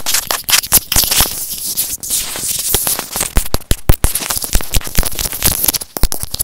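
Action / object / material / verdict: tap / plastic earphone inline microphone housing / plastic / none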